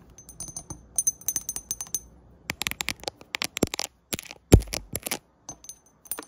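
Long acrylic nails tap and click rapidly on the side of a medium frosted glass diffuser bottle with a gold label, standing on a wooden table. The dry, bright clicks come in quick irregular bursts with very short ring. A brief faint tone sounds early on, and one tap near the middle lands noticeably harder.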